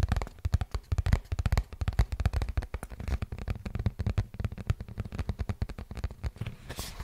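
A hollow printed cardboard product box is held in the hands and tapped and scratched with the nails. A fast, steady flurry of dull, low, boomy taps runs throughout, each dying away almost instantly, with short papery scratches mixed in and a brighter scrape near the end.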